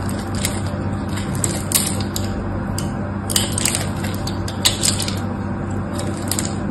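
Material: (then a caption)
Soap. A knife blade scrapes and carves flakes from the edge of a solid pink bar of soap held in the hand. Crisp, bright scratchy bursts come and go throughout over a steady low hum.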